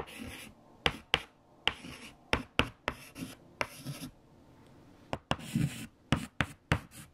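White chalk held in a fingertip grip writes equations on a large, flat black chalkboard, with bright scratchy strokes between sharp taps on the surface. Twelve short, crisp taps stand out over soft rasping, with little ring after each.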